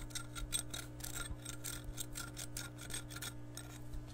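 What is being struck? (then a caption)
Glass measuring cup. Long nails scratch an empty glass measuring cup with red markings as it is held, producing a quick series of raspy, bright scraping strokes. A steady low hum runs underneath throughout.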